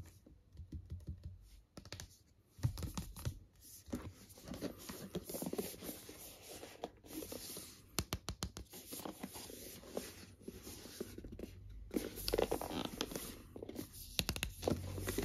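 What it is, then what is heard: Cardboard box tapped and scratched. Fingertips and short nails tap and scratch a medium-sized, rigid white cardboard Apple iPad Pro 12 (2021) retail box, hollow and apparently still sealed and full, across its printed colorful front and its white side with the Apple logo. The sound is a quiet run of dry, hollow taps with a low cardboard thud, mixed with soft, papery scratching and bright, crisp flicks. Each tap dies away almost at once.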